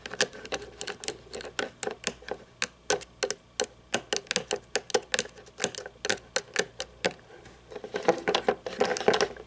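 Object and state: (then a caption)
Toy monster truck, plastic and chrome parts. Long nails tap and scratch a small toy monster truck held upside down and tilted in the hands, with a chrome plastic chassis and black plastic tires. Dozens of quick, dry, clicky taps with almost no ring follow one another, then give way near the end to denser, brighter scratching.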